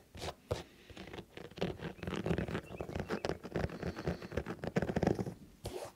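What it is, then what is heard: Sneaker rubber sole. Fingertips tap and patter rapidly on the foam/rubber sole of a colorful synthetic sneaker held against the chest. The result is a dense run of soft, dull, muffled taps with most energy in the low end. Each tap dies away almost instantly, with no ring.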